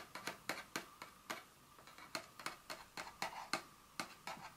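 Long nail tips tap the face and edges of a small, hollow, printed paperboard Dior fragrance box lying flat on a table. Sixteen light, crisp taps come in an uneven rhythm, each with a bright click and a brief hollow ring near 1.2 kHz that dies away almost at once.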